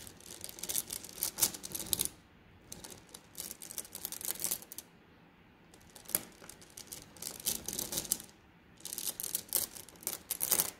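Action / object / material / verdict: shake / flat glass gems in a plastic mesh bag / glass / none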